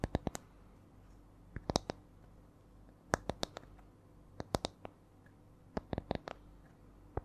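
A small, round, flat spiral coaster with coiled rings that looks like light wood is held near the mic and tapped with long nails. About twenty short, dry, bright clicks come in uneven clusters separated by pauses, each dying away instantly over a faint low hum.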